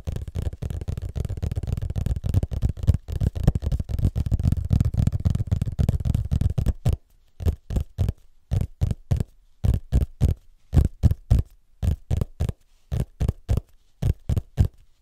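Fingertips and nails scratch and tap the parchment-style printed cover of a large, solid hardcover book held flat. The first seven seconds are a dense, continuous flurry of low, muffled scratching and tapping. After that the sound thins to separate, dull taps with short gaps of quiet between them.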